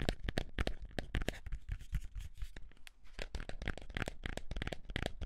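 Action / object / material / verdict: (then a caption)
scrape / small cardboard box / cardboard / none. A small, hollow white cardboard box is held in both hands and scratched and tapped with the fingertips and nails. Rapid, uneven taps give dull, hollow low thumps with bright, papery scratching and crinkly rasps between them. The sound runs steadily for the whole clip, with each tap dying away almost at once.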